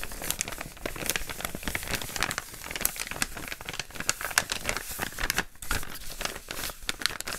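An empty, flattened brown kraft paper bag with a green print is held in both hands, and fingertips rub and crinkle it and flip it over. The result is a dense stream of dry, crackly crinkling and rustling with quick sharp snaps throughout.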